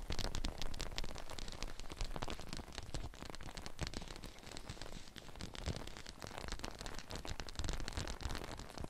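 Long painted nails tap rapidly on the outside of a large clear PVC dome umbrella, its hollow, thin plastic canopy held over a glitter mannequin head with ear mics inside. The result is a dense, continuous patter of short, dry taps that sounds like rain on a surface. The patter carries a heavy low, drumming thump with a fainter bright tick on top.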